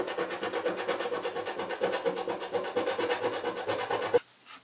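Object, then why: Cardboard box with scratch-off film scraped by a coin. A coin scrapes the scratch-off film on the top edge of the lid of a hollow cardboard box held in one hand. Rapid, rhythmic back-and-forth scratching strokes carry a raspy midrange tone with a bright edge. They end in a sharp click near the four-second mark, followed by near silence.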